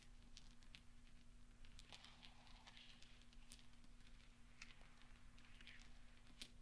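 Fingertips sweep and roll small solid steel pachinko balls across velvet so they knock together. Quiet, bright clicks and soft ticks scatter over a steady low hum, with a faint rolling rustle between the taps.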